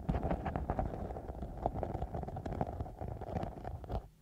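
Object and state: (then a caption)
Glitter foam sheet. A thin, soft, flexible foam sheet covered in silver glitter is wrapped over the microphone and scratched and rubbed with long nails and fingertips. The result is a close, muffled run of dense scratching and rubbing, heavy in the low end with a band around 700 Hz and occasional brighter, sharper scrapes. It fades out at the very end.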